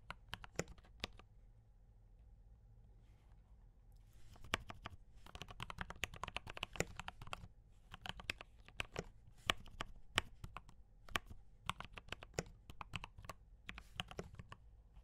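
Fingertips type on a D84 mechanical keyboard with brown switches and cream and red plastic keycaps. Sharp, bright clicks come in irregular bursts, with a quiet stretch early on and a low steady hum underneath throughout.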